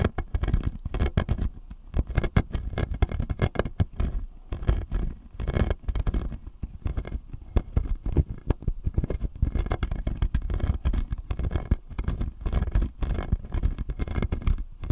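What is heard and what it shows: Fingernails tap and scratch the front and side teeth on the lower jaw of a clear acrylic dental model with plastic teeth. Dense, rapid clicking and scraping continues throughout, with short dry taps that carry a low-heavy body and little high-end brightness.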